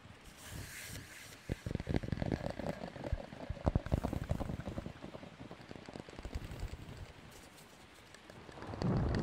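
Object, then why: Long cardboard tube. A long, hollow, empty cardboard tube is held in both hands in front of a microphone while long nails scratch and tap along its length. Quick, irregular taps with dull, hollow low thumps mix with soft scratching over a faint background hiss. A louder low rumble swells at the very end.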